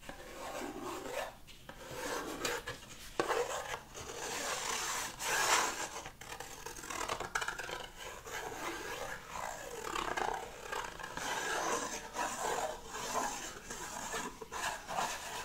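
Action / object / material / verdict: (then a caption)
scrape / cardboard box scratched with a wooden stick / cardboard / none. A small printed cardboard box with an open brown flap is held against a wall and scratched with a wooden stick. Dry, raspy rubbing strokes rise and fall in a steady back-and-forth rhythm, with a bright, papery texture and little low end.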